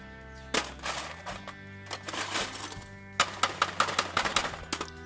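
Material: Stone, steel.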